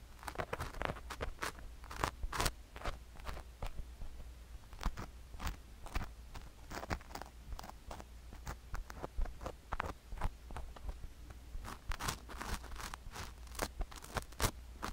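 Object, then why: Sugar granules on a silicone ear microphone, scraped with a wooden stick. A wooden stick scrapes sugar granules around the ear canal of a sugar-coated silicone ear microphone. Dense, irregular crunchy scrapes and crackles arrive in bright, broadband bursts throughout, over a steady low hum. The result is a continuous gritty crunching texture at a fairly quiet level.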